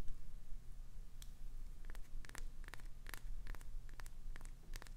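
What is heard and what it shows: Long pointed acrylic nails scratch along the surface of a clear green solid glycerin soap bar with a clownfish design, held in the hand. Short, crisp scratchy clicks come in quick uneven bursts over a steady low hum.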